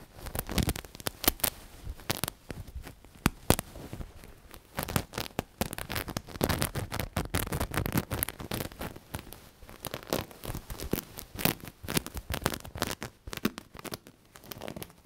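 A black knitted cushion with a sequin patch is squeezed while long nails scratch across the sequins. Dense, irregular bursts of crackling, crinkly scratching come in quick clusters, each dying away almost at once, with a soft muffled low thump from the squeezing under the bright sequin rasps.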